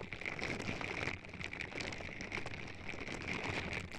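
Purple silicone-bristle scrubber gloves on both hands rub continuously against the silicone ear pieces on both sides of a white binaural microphone box, which has an anime sticker and a vinyl figure on top. The result is a steady, dense, rain-like crackling rustle with a bright scratchy edge and a constant band of hiss near 2 kHz.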